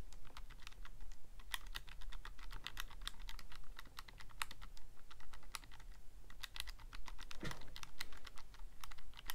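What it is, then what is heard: Plastic calculator buttons. Fingertips press and click the plastic keys of a Casio calculator in quick, uneven bursts of short, bright clicks. Each click is dry and stops almost at once, over a steady low hum, and one fuller press lands near the end.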